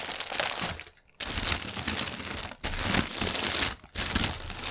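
Fingernails scratch and press the film of a strip of inflated, hollow, air-filled clear polyethylene air cushion packaging lying on a table. Dense, bright crinkling and crackling runs throughout, broken by brief quiet gaps near 1, 2.6 and 3.8 seconds.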